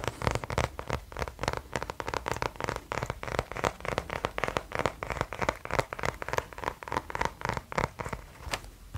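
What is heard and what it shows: Fingertips rapidly scratch and rub the cover of a small kraft cardboard-covered spiral notebook held up close to a microphone. The result is a steady run of dry, papery scratches, about three or four per second in an uneven rhythm, with crisp mid-range texture and no ringing after each stroke.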